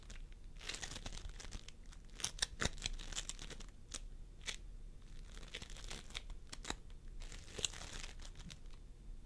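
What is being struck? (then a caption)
Floam foam with polystyrene beads. Fingertips of both hands press and squish a pastel mound of floam sculpting foam, made of polystyrene beads, resting on a wooden table. A dense stream of sticky crackling and bright crinkly pops continues throughout, with sharper snaps standing out now and then over a soft low rumble.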